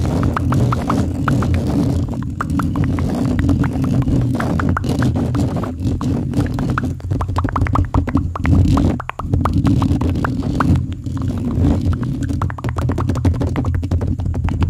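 Fingertips of both hands scratch and rub the hollow metal mesh grille of a silver microphone. A fast, dense stream of scratchy clicks and taps rides over a heavy, boomy low rumble. It continues almost without pause, with only a brief dip near the middle.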